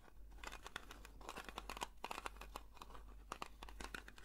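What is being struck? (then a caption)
Small round metal tin. Long nails scratch a round blue metal Nivea cream tin, working over the lid and the side rim. The result is a quiet run of dry, crinkly scrapes and quick sharp ticks with a mid-pitched metallic edge. A steady low hum sits underneath throughout.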